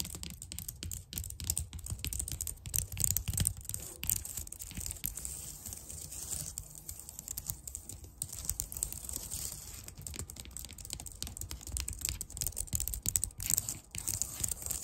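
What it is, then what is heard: Plastic computer keyboard. Long nails tap and scratch the keys of a white plastic computer keyboard in close-up, making a rapid, uneven stream of clicky ticks. Bright scratchy rasps and a low thumpy undertone run through it for about fifteen seconds.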